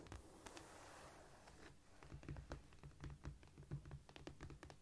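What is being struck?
Cork floor surface.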